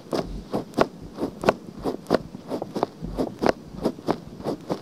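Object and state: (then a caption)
Silicone microphone ear scratched with nails. Long nails scratch the outer ear of a pale pink silicone binaural microphone ear. Thirteen short, dry scratching strokes land in an uneven rhythm, each a soft rasp centred in the mids with brief bright edges and no ring.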